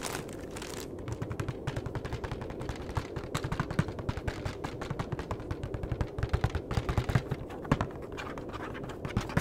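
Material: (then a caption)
Cardboard. The back face of a flat cardboard chocolate box is tapped and scratched with the fingertips and nails. Rapid, irregular, dull taps sit over a steady low, papery scratching, mostly low in tone with very little high end. The taps grow denser and louder in the second half.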